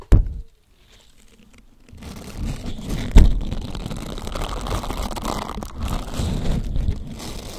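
A green silicone bristled scrubber sponge is bent into an arch over the mic while fingertips press and rub its bristled surface. A sharp thunk opens the clip and is followed by near silence. From about two seconds on comes a steady, low-heavy rubbing and crinkling texture with a stronger knock just after three seconds.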